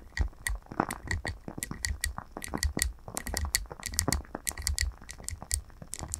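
Long nails tap quickly around the rim and sides of a lit glass candle jar filled with wax. The result is a rapid, irregular patter of sharp, bright clicks over soft low thuds, each tap dying away almost instantly with no ringing.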